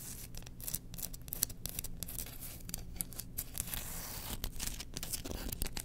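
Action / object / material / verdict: scrape / bamboo slotted spoon / bamboo / none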